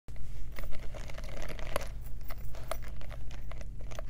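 Long nails tap fast across the metal and rhinestone studs on the flap of a small black faux leather clutch purse with a metal turn-lock clasp. The result is a rapid, dense run of small, dry clicks and crinkly ticks over a steady low hum.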